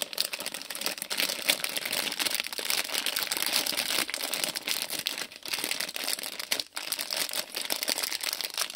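A small printed plastic-film Lego City polybag with bricks inside is held in both hands while fingertips crinkle and squeeze the film. The result is a steady, bright crackling with dense rapid crinkles and no low-end weight, dipping briefly near the five- and seven-second marks.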